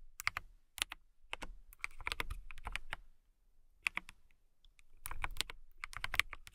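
Fingertips and long nails type on a transparent acrylic mechanical keyboard with clear keycaps. The result is bursts of sharp, bright clicks and clacks with a faint low thump under each one, separated by short pauses.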